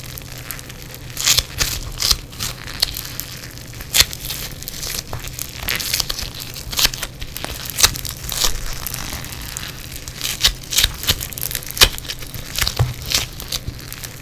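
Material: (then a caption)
Foam beads. Fingers in black nitrile gloves squeeze and pull yellow foam bead clay on a table mat. The result is a steady run of fast, bright crackling and crunching pops, with a faint low hum underneath.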